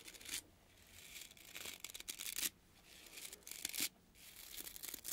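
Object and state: Natural bristle body brush being scratched.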